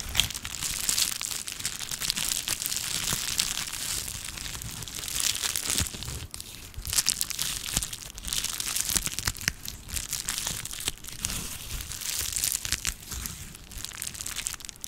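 A small sheet of clear plastic bubble wrap is held in both hands, squeezed and scratched with long nails. Dense, bright crinkling and crackling runs steadily throughout, with occasional sharper snaps and little low end.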